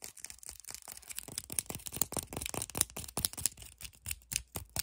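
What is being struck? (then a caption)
Plastic deodorant stick tube. Long painted nails quickly tap and scratch the plastic and the label of a small plastic deodorant stick tube with a white base, held in both hands. A fast, irregular stream of short, bright clicks and crisp scratches follows, mostly high-pitched with little low end. Each tap dies away almost instantly.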